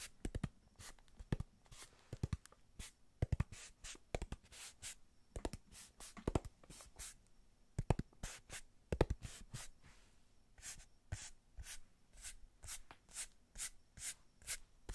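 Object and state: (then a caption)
Kraft cardboard box. A small, empty-looking brown kraft cardboard box is held in the hands and tapped and scratched with long nails and fingertips. The result is a quiet, steady run of quick, dry taps and scratchy bursts, each with a dull low thud and a bright clicky edge that dies away almost at once.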